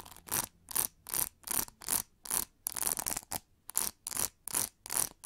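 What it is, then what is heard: Plastic hair brush back scratched with nails. Long nails scratch and tap the textured back of an oval, hollow pink plastic hair brush. The result is a loose rhythm of short, bright, hissy scratching strokes with crisp taps, each fading almost at once into quiet gaps.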